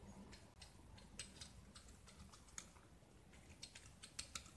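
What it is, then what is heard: Gypsum block being shaved. A small solid gypsum block, painted blue and held in the hand, is shaved with a metal utility knife blade, exposing the white plaster underneath. Quiet, bright, crisp scraping strokes and light ticks come in quick irregular bursts over a soft low background hum, each sound dying away almost instantly.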